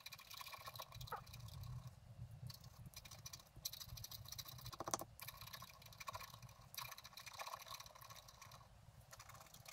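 A wooden stylus scratches a flat black-coated scratch art card lying on a table, working over the bottom flowers and grass. The result is a steady run of quick, dry, bright rasping strokes over a soft low rumble, with a sharper, louder scrape about halfway through.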